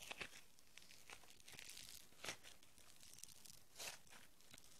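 Green foam bead clay is pulled into a long rope with both hands, then kneaded into a small lump with the fingertips. Soft, bright tearing and crackling comes in quick bursts over a quiet bed of fine crinkling, with a few louder crunches standing out.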